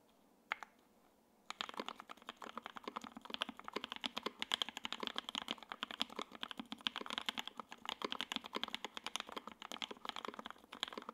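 A J-02 WKL 60% mechanical keyboard on a desk mat, with lubed Tangerine switches, a carbon fiber plate, a gray aluminum case and white and green double-shot ABS keycaps, is typed on fast with the fingertips of both hands. A single click sounds near the start, then after a short pause comes a steady stream of rapid, crisp, bright keystrokes. Each keystroke is a short, dry clack with no low-end thump.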